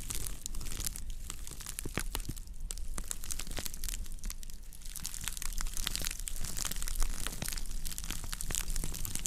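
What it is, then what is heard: Woven straw plate. A round woven straw plate of natural fiber is held and scratched with long nails across its underside and rim, with slight squeezing and tilting. Dense, dry crinkling and crackling scratches come with many sharp, bright ticks over a steady low rumble. The level stays fairly even throughout, with one louder crackle near the seven-second mark.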